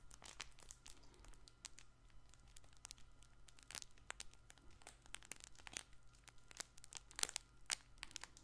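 A soft, multicolored fabric baby ball with crinkle filling is squeezed and scratched with fingertips and nails. The result is quiet, continuous bright crinkling and crackling, with many sharp, short snaps over a faint steady low hum.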